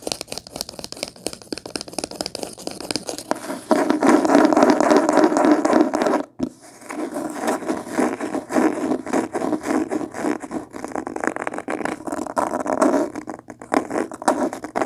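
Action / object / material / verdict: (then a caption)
scrape / cloth-covered hardcover book / cloth / none. Long painted nails scratch rapidly across the beige linen-textured cloth cover of a solid hardcover book held upright. The quick, dense scraping strokes sound dry and raspy, growing louder after a few seconds. The scratching pauses briefly just past the six-second mark, then continues at a slightly softer, steady pace.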